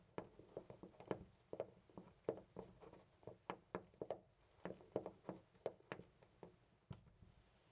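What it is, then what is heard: Loose brass door knob. Fingers twist and rattle a loose brass-colored metal knob on a white interior door. It makes a quiet, irregular series of short, dull clicks and knocks, each dying away almost at once with little bright ring.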